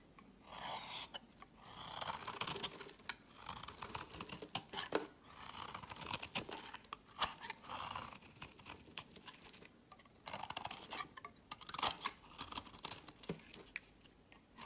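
A metal utility blade scrapes and carves a solid rectangular red soap bar with an embossed logo, held in the hand, dropping shavings onto a woven mat. Repeated dry, crisp scraping strokes and crunchy cuts come in bursts with short pauses between them, bright and high with almost no low end.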